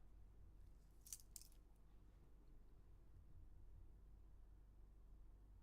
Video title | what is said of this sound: 🔴LIVE. Rolex 3135 assembly, Seiko 5 later | if I shake back and forth, yeah, the rotor on this is starting to go